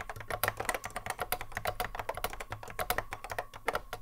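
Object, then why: Plastic mechanical keyboard. A cream Apple M0110A keyboard with a hollow plastic case and Alps SKCC mechanical switches, sitting on a wooden desk, is touch-typed continuously with the fingertips of both hands. The result is a steady, rapid stream of short, clacky keystrokes with a mid-range plastic ring and bright clicks over a faint low hum, each hit dying away almost at once.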